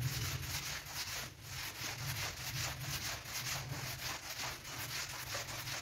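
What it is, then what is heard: Synthetic pile carpet being scrubbed. A small hand brush in a green-gloved hand scrubs back and forth across a large, flat, thin and solid dirty synthetic pile carpet that is wet with water and soapy foam on a tiled floor. The result is a steady, rhythmic, scratchy rubbing with bright bristle hiss and a low, constant hum underneath, each stroke swelling and fading in turn.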